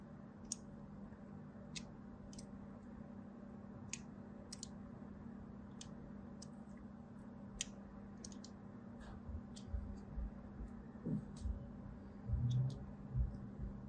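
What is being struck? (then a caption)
Bar of soap scraped with a thin blade. A thin blade scratches lines into a solid white soap bar, making sharp, bright ticks and short scrapes at irregular intervals over a steady low hum. Toward the end, louder, duller low thumps and scuffs take over.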